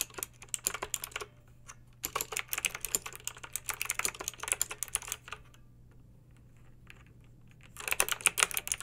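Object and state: Plastic mechanical keyboard being typed on.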